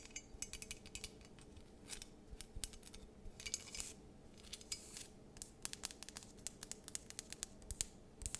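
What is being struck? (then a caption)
Glass candle jar filled with wax. A cream-colored, wax-filled candle in a glass jar with a paper label and gold ribbon is tapped and scratched with long nails. Many quick, dry clicks and ticks sound over soft scratching, bright and crisp with almost no ring. A faint low hum sits underneath throughout.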